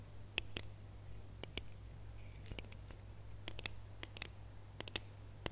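Fingernails scratch and tap the ridges of a small, red, ribbed, hollow plastic Christmas bauble held in both hands. This produces sharp, bright, dry clicks scattered across a soft scratching hiss. A steady low hum runs underneath throughout.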